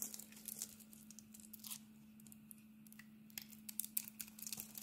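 A solid, hand-sized oval bar of cream soap with a pink glitter coating is held in the palm while a steel utility blade scrapes off the coating and shaves away flakes. The result is a quiet run of dry, bright scratching and crinkly shaving strokes. A steady low hum sits underneath.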